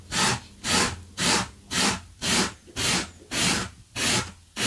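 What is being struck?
Low-pile fabric carpet runner brushed with a wire brush.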